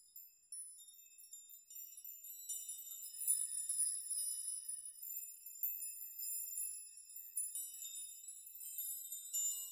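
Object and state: Metal nail chime.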